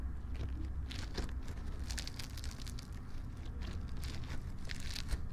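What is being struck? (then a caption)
Sticky slime packed with polystyrene foam beads. A palm-sized lump of sticky clear floam slime packed with small colorful polystyrene foam beads is squeezed, kneaded and folded by fingertips in front of silicone ear microphones. A steady low rumble runs throughout, overlaid with a continuous stream of crunchy crackling and brief bright crinkling bursts.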